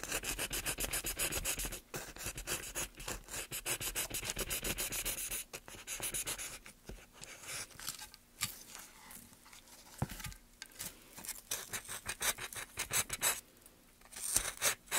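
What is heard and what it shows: A solid, light-colored pine softwood plank resting on a dark mat and held in white-gloved hands is carved along its length with a wooden-handled steel gouge, leaving a pile of shavings beside it. The gouge makes rapid, irregular, dry scratching and scraping strokes that are bright and hissy, with little low end. There are brief quieter pauses between bursts of cutting.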